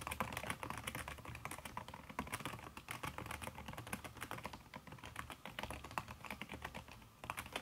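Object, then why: Laptop keyboard keys under a silicone cover, tapped by fingertips and nails. Fast typing with fingertips and long red nails on a backlit aluminium laptop keyboard fitted with a red silicone key cover. The result is a steady, dense stream of soft, muffled key taps with short, dry clicks and no pauses.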